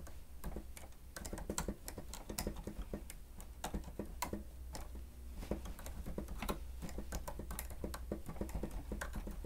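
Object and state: Plastic stenotype machine keys.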